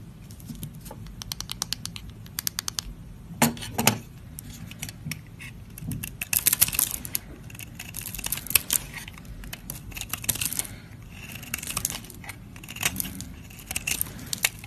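A flat metal blade scrapes and carves curls off the surface of a solid purple soap bar held in hand, with the shavings piling up. Crisp, bright, dry scratching and rapid ticking come in bursts, with louder rasping strokes around 3.5–4 seconds, 6.5 seconds, 8.5 seconds and 13 seconds, each dying away almost instantly.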